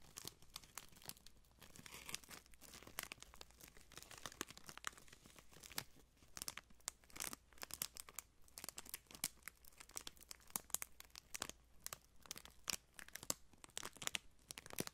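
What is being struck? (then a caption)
Thin plastic wrapper strip. A printed clear plastic wrapper strip is held in both hands and crinkled, folded and rubbed between fingertips with blue-painted nails. It makes a steady stream of sharp, bright crackles and crinkles across the whole clip, with faint low hum underneath.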